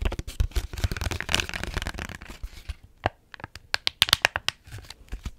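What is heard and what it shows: Long nails scratch and tap the front of a small, full-looking Capri Sun strawberry kiwi juice pouch made of foil laminate, with a straw inserted. A dense, bright, crinkly scratching fills the first half, then thins into sharp, separate crisp taps with very short decay.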